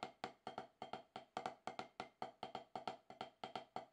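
Wooden drumstick tips tap the rubber surface of a solid, octagonal HQ rubber-top snare practice pad in a quick, steady pattern of 23 taps. Each tap is a dry, woody knock centered around 750 Hz with a faint bright edge, dying away almost at once with very little low end.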